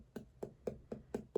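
Chilled ice globe facial rollers, cold from just being taken out of the fridge, are tapped six times. Each tap gives a short, soft knock with a mid-low tone around 400 Hz that dies away almost at once.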